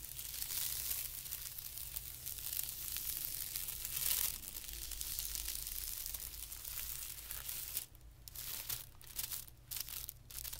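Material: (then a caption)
Paper. A fingertip scratches a flat, thin white tissue paper sheet lying on carpet, then both hands rub it with their fingertips. The result is a dense, bright, crinkly rustle that peaks around the four-second mark and breaks into short quieter gaps near the end. A low, steady hum runs underneath throughout.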